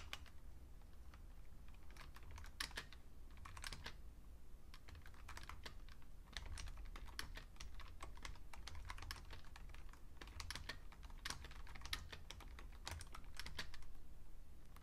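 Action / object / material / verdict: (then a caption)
tap / plastic computer keyboard / plastic / none. Fingertips with painted nails type fast on a vintage beige plastic full-size Fujitsu Siemens computer keyboard. Quick, bright clacks come in uneven bursts over a steady low hum.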